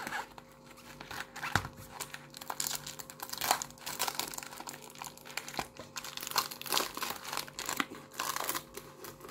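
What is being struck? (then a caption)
Plastic bubble mailer. A flat pink padded plastic bubble mailer with a paper shipping label, hollow and holding a flat item, is lifted, flipped and pressed with bare fingertips. It gives off bright, papery crinkles and crackles in irregular bursts over a faint steady hum.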